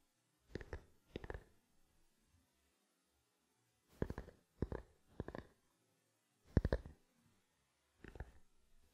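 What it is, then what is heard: Plastic lens cap tapped. A small, black, hollow plastic camera lens cap held close to the microphone is tapped with fingertips. Seven short clusters of soft, hollow, low clicking taps come in irregular bursts with quiet gaps between them, each dying away almost instantly.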